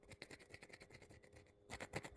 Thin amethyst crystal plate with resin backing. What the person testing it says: ça sonne quand on gratte dessus à l'arrière comme ça, là, ça sonne vraiment comme de la résine, mais 100 % on dirait du plastoc